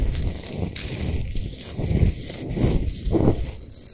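Long nails scratch fast across a large, solid Himalayan salt sphere lamp lit from inside. The result is a steady, dense, low-heavy rasping with a faint bright hiss, rising in several rough swells.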